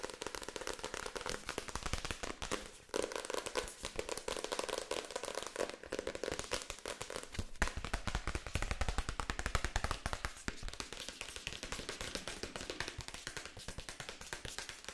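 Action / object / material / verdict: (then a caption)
tap / paperback book with paper cover / paper / none. Long acrylic nails tap fast on the back cover and page edges of a solid paperback book with a paper cover, held in one hand. The result is a dense, rapid stream of short, dry clicks with a bright crackling edge and a low thump underneath. There is a brief dip just before the 3-second mark, after which the tapping comes back slightly louder.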